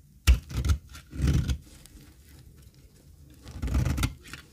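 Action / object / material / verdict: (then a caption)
scrape / olive oil soap bar / soap / none. A thin, dry cream olive oil soap bar is held in the hand while a metal box-cutter blade scrapes across its surface. A sharp crunchy scrape opens the clip, followed by several dry, gritty scraping bursts with low thudding undertones and bright crackle, separated by quiet pauses.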